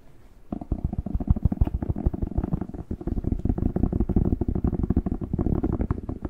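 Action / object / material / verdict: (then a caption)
tap / whole fresh bell pepper / pepper skin / none. A whole fresh red bell pepper, hollow and hand-sized, is tapped with fingertips and scratched with nails on its waxy skin. After a brief quiet start, rapid dull, low, hollow thumps with a muffled pattering texture continue steadily to the end.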